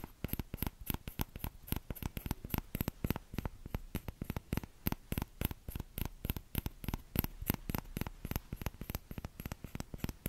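A small orange plastic ladle is held by its thin handle in front of the mic while fingertips of the other hand tap its shallow, hollow bowl. About 57 quick, dry taps come in a steady, rapid patter, each a short low thump with a light bright click on top and almost no ring.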